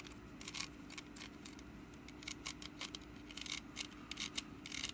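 Long nails scratch the ribbed woven sides of a small, hollow, orange woven wicker pumpkin basket held in one hand. The result is a quick, irregular series of dry, bright, raspy scrapes over a steady low hum, each scrape stopping sharply with almost no ring.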